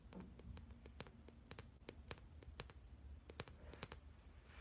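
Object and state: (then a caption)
Plastic-covered spiral notebook. Fingertips and nails tap and scratch the glossy plastic or laminated-card cover of a large blue spiral-bound notebook with a metal spiral, held upright in both hands. The quiet clip has a steady low hum under it, with sharp, brief clicky taps scattered throughout and a soft scratchy rustle between them.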